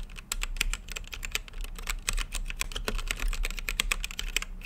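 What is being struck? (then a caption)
Mechanical keyboard with plastic keycaps and acrylic case. Fingertips type steadily on a full-size mechanical keyboard with Gateron brown switches, plastic keycaps and a translucent backlit acrylic case. A quick stream of sharp, bright clicky taps centered around 2.5 kHz, each dying away almost instantly, runs over a faint low rumble.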